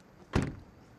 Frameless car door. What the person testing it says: Door closing sound. Yeah, that's not good. Um, that sounds cheap.